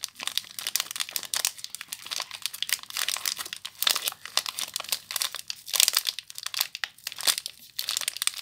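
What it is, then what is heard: Plastic-wrapped soap bar being crinkled. Long nails crinkle and rub the clear plastic wrapper on a small soap bar. The result is a steady stream of dense, bright crackles and rustles with almost no low end.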